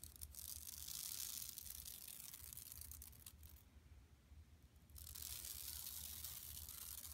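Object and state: Woven plastic mesh shopping bag.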